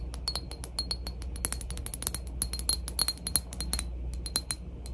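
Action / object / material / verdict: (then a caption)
tap / glass cologne bottle / glass / none. A glass PacSun cologne bottle is tapped for ASMR in a quick, uneven series of light taps. Each tap is a short, bright glassy click with a faint high ring that fades almost at once, over a steady low hum.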